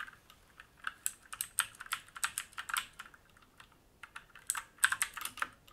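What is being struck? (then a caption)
Mechanical keyboard with plastic keycaps and metal plate. Fingertips of both hands type on a black mechanical keyboard with plastic keycaps and a metal top plate, resting on a wooden desk. Around twenty crisp, bright clacks come in uneven bursts, with a short pause midway. Each keystroke dies away almost instantly, with no low thump beneath.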